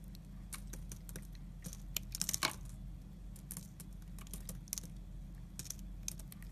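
A solid blue Lux soap bar held in the fingers is carved with a yellow utility knife blade, which shaves thin layers off its end. Quiet, crisp scraping and crackling clicks come in quick bright bursts over a low, steady hum, with a denser cluster of louder shaves in the middle.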